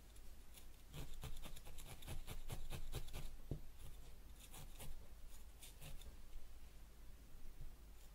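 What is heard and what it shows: A felting needle held in fingertips stabs repeatedly into a small yellow wool ball resting on a white foam pad. Each jab makes a quick, dry, scratchy puncture, and the jabs come in fast, uneven bursts with brief pauses between them. The sound is soft and close, with crisp, bright ticks over a low, muffled thud.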